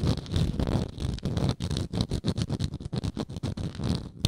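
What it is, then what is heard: Wooden jar lid scratched with nails. Long nails scratch the round, textured wooden lid of a frosted glass moisturizer jar held in hand. A dense, rough scratching rasp comes first, then breaks into a quick series of short, separate strokes. The sound is mostly low and rumbly, with a faint bright hiss on top.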